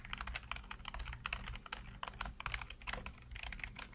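Fingertips type rapidly on the keys of a black plastic backlit computer keyboard, producing a dense stream of quick, sharp clicks with a bright, clacky tone around 2 kHz. Each keystroke decays almost instantly, over a steady low hum.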